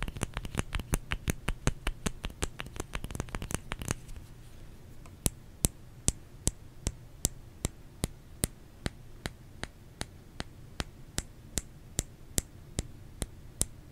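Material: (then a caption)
Soap. Fingers tap on a solid bar of soap. A quick, dense flurry of taps with a low, thumpy body gives way after about four seconds to slower, evenly spaced sharp clicks with a bright edge. Each tap dies away almost instantly.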